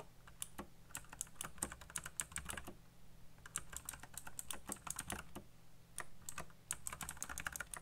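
Fingertips type fast on a colorful backlit mechanical keyboard with black plastic keycaps, producing rapid, bright, short clacks in quick bursts with brief pauses between them. A steady low hum sits underneath the typing throughout.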